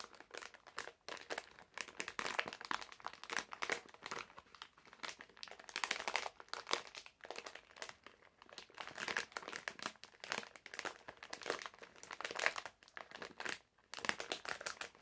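A medium printed plastic-film bag full of wrapped hard candies is held in both hands while fingertips press, crinkle and scratch the film. Dense, bright crinkling and crackling comes in quick overlapping bursts throughout, with almost no low end and a dry, short decay.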